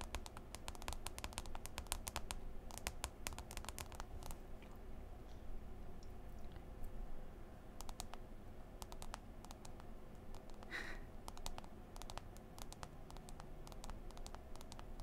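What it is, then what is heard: Smartphone glass touchscreen. Long green acrylic nails tap and scroll on the glass touchscreen of a smartphone lying flat in an open white folio case, while the other hand rests still on the case. Quick, sharp, bright clicks come in bursts and scattered single taps. They sit over a quiet, steady low hum, with a brief soft swipe near the end.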